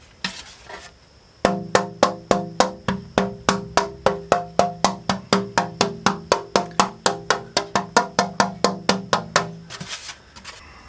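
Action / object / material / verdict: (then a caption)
tap / braced wooden acoustic guitar top / wood / none. A braced wooden acoustic guitar top, its braces scalloped to make them lighter, is tapped repeatedly in a steady rhythm of about four taps per second. Around thirty short, resonant, wood-block-like knocks sound with a clear tone near 700 Hz and fast decay, with soft rustling before and after the taps.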